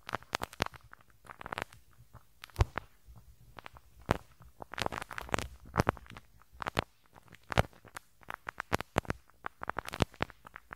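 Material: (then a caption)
Metal mesh. A pink rubber-bristle brush scratches the small hollow metal mesh grille over the right capsule of a handheld stereo recorder. Dense, irregular bursts of crackling, snapping bristle flicks come through, each a sharp bright click with a dull low thump underneath. The sound is close and quiet with very short decays, and busier clusters arrive in uneven waves.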